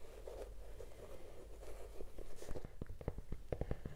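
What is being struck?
Leather sneaker.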